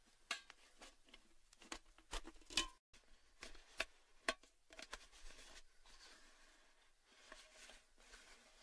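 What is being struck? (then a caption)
Thin sheet-metal cylindrical tin with lid. A tall orange cylindrical Baileys metal gift tin, hollow and apparently empty, stands on a table with its lid on and is tapped on the lid and rim with fingertips and short nails. The result is a series of light, bright metallic taps and clicks at an irregular pace, each with a very short ring, over a quiet background with a brief near-silent gap.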